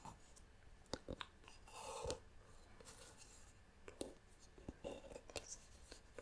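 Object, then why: Wooden pot with carved wooden lid. A medium, hollow, round wooden pot with a carved wooden lid is held in both hands and tapped and scratched on its lid and sides with long nails. Quiet, sharp, dry taps with a hollow woody knock are scattered throughout, with a brief rasping scratch near the two-second mark.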